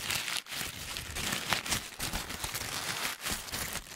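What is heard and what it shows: A hollow, crumpled white paper ball is pressed and crinkled with the fingers, both close to the mic and in front of the face. The result is a dense, bright crackling and rustling that continues throughout, with brief dips in loudness between squeezes and very little low end.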